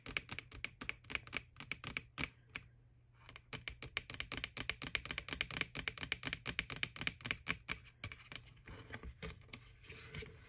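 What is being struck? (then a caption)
Hollow plastic bucket with lid. Fingertips and long nails rapidly tap and scratch the side and lid of an empty, white, hollow plastic McDonald's ghost Boo Bucket with a handle. The result is dozens of crisp, bright, hollow clicks with a brief pause near the three-second mark. Toward the end the taps give way to a softer, continuous scratching.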